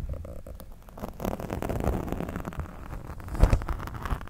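A pen tip scratches across the surface of a black foam windscreen on a microphone. The result is a steady, muffled, low rumbling scratch with soft crackle, swelling in the middle and peaking in a sharper burst near the end.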